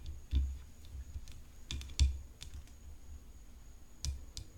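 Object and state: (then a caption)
Composite tennis racket frame tapped with fingernails. Long nails tap the hollow composite frame of a rhinestone-decorated tennis racket near the throat, with the racket resting on black cloth. Soft, irregular taps give dull low thuds topped by brief bright clicks, a few of them louder than the rest. Each tap dies away almost at once, like light keyboard clicks.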